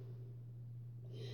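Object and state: Nothing is struck.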